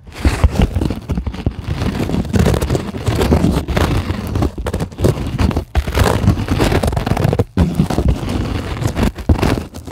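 Long acrylic nails scratch and dig into the surface of a white polyethylene packing foam sheet resting on a table. The result is a dense, continuous run of low, crinkly scraping and crackling, with a few brief pauses between strokes.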